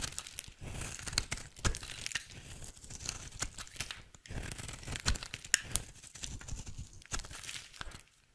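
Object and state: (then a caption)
Dry soap bar being shaved. A rectangular, solid, dry pink soap bar held in hand is shaved with a utility knife blade, producing a continuous run of crisp scraping and crinkly, tearing cuts. The strokes have bright, hissy highs over a soft low rumble, with sharper clicks standing out here and there. The clip falls nearly silent in the last half-second.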